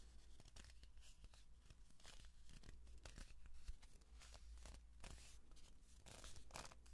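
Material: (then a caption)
Cardboard. A long, hollow kraft-paper cardboard tube is held upright in both hands while fingertips and palms rub and scratch along its surface. Dense, quiet, dry scratching and rasping textures come in bright bursts over a steady low hum throughout.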